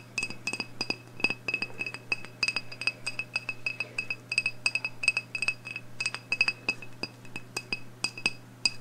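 Long blue nails tap rapidly and irregularly on the glass of a medium black glass candle jar with a label, filled with wax and holding a lit candle. Each tap is a short, bright glassy clink centered near 2.6 kHz with high overtones, and it dies away almost at once. A steady low hum runs underneath throughout.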